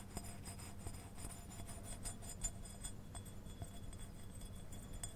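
A small white glazed ceramic deer figurine with gold antlers, likely hollow, is held in one hand and tapped with the long painted nails of the other. A quiet, steady series of light clicks and clinks is heard, each with a brief, high glassy ring over a low background hum.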